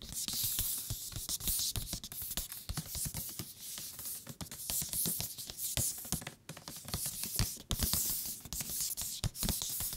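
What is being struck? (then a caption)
Thick paper book. A thick paper book is tapped with the fingertips on its cover and along its edges in a quick, steady stream of light taps. Each tap is a soft, dull knock over a bright, papery rustle. The top and bottom edges sound different from each other even though the thickness and material are the same.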